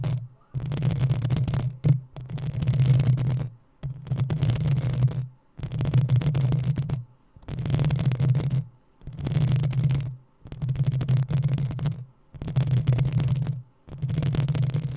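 Long acrylic nails of both hands scratch the hollow metal mesh head of a black desktop USB microphone, producing a series of separate bursts of dense, bright scratching over a heavy low rumble. About nine bursts of a second or so each are separated by short near-silent pauses.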